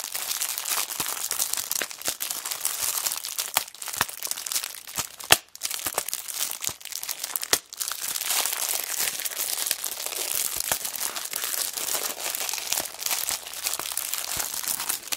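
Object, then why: Paper notebook in a clear plastic wrapper. A small, flat kraft-cardboard notebook in loose clear plastic wrap is held upright in both hands while long black nails and fingertips squeeze and crinkle the wrapper. The result is dense, bright, steady crinkling packed with sharp crackles, with almost no low end and two brief dips near 5.4 and 7.6 seconds.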